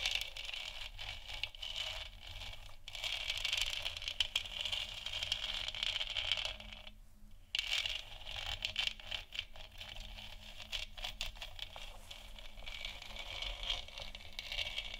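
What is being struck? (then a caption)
Plastic moon lamp sphere. Long nails tap and scratch across the front and sides of a large, hollow, 3D-printed plastic moon lamp sphere that is lit white. The result is a steady stream of quick, bright, dry clicks and scratchy rasps that sit mostly in the high range. The sound pauses briefly about halfway through before the scratching resumes.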